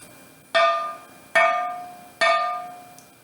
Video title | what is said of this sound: Materiais Cerâmicos | som bem metálico significa está Bem cozido